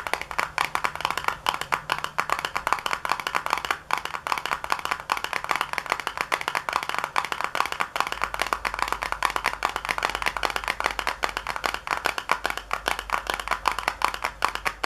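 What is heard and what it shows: Long nails tap rapidly on the back panel of a small, hollow white paperboard box resting on a counter. The result is a dense, steady stream of short, dry clicks with a hollow midrange knock and bright edges. A faint low hum sits underneath throughout.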